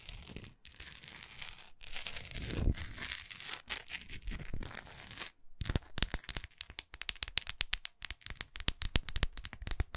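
Long acrylic nails on both hands scratch along the textured side of a large, solid orange wax pillar candle held upright. The first half is a steady, bright, rasping scrape broken by brief pauses. The second half turns into a rapid run of short, crisp scratches and clicks.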